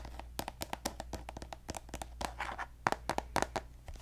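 A hollow pink plastic lotion tube, held upright, is tapped with fingertips and nails in a quick, irregular series of short, crisp clicks and taps. The taps have a light hollow ring around 950 Hz over a steady low hum.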